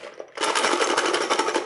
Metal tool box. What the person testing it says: you can hear there's something rattling around